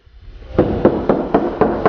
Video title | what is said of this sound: RESTORATION REALITY CHECK CAVE AND PAVE CAR BONDO BUCKETS THEY ARE EVERYWHERE | sounds pretty solid when you close it sounds like metal too